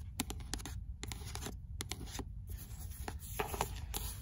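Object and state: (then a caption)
Paperback book, nails scratching and tapping. Fingernails scratch along the page edges of a paperback book with a paper cover, then tap and scratch its card cover. Crisp, bright clicks and dry scraping rise over a steady low rumble, each tap dying away almost at once.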